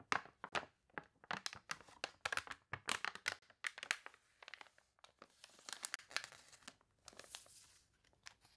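Long-nailed hands press the pages of an open, water-wrinkled paper toy catalog and flip a wavy page. The result is a rapid series of short, bright, dry crinkles and crunches with almost no low end, then a longer rustling swell as the page turns.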